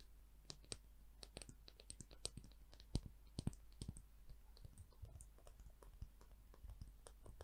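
Long nails flick and click against the fine teeth of a solid, light-colored peach wood comb and tap its spine. Quiet, short, dry clicks and taps come in an irregular patter over a low steady hum. Some strikes are sharper and brighter than others.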